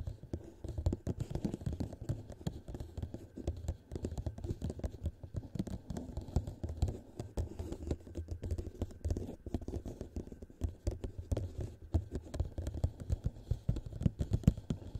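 Fingernails tap rapidly, in a typing-like motion, on a thin, hollow, empty clear plastic cup turned upside down over the microphone. The result is a quiet, continuous patter of dull, muffled clicks, heavy in low thumping tones, with almost no brightness and no ring after each tap.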